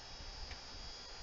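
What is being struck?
Nothing is struck.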